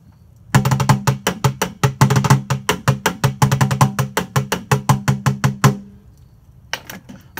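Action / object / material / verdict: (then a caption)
tap / large plastic tub / plastic / none. A large, hollow blue printed plastic tub stands upright on a table and is drummed on its top with the hands or sticks, giving short, dry, low hollow thumps in a quick, uneven rhythmic pattern. About 35 sharp taps run for roughly five seconds, each dying away almost at once. After a brief pause, a few fainter taps follow.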